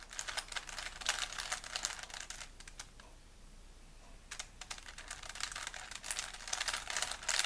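A small solid plastic 3x3 Rubik's cube is held in both hands while fingertips rapidly twist its layers. Bursts of bright, dry plastic clicking and rubbing are heard, with a quieter pause in the middle before the fast turning resumes.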